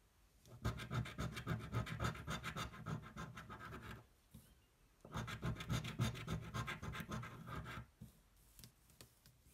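The edge of a coin scratches a thin, flat cardboard scratch-off lottery ticket held flat on a table. Two bursts of rapid, rhythmic, gritty scraping carry most of their weight low, each lasting about three seconds with a short pause between. A few fainter scrapes follow at the end.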